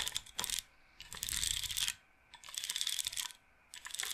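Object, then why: Wooden bead roller massager. Fingernails scratch across a wooden bead roller massager, a wooden frame with beaded rods, rolling the beads so they clack. Rapid, bright clattering ticks come in several bursts separated by short quiet gaps, with almost no low end.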